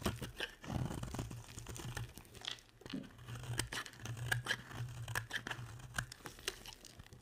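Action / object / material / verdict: scrape / bar of soap scraped by a metal blade / soap / none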